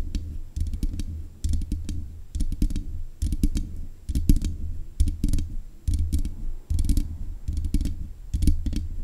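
Long nails tap repeatedly on the metal mesh grille of a black USB condenser microphone. The clip is made of quick bursts of clicky taps with a heavy, boomy low thump and a bright crackle on each touch. The sound is close and dry, with short pauses between the clusters.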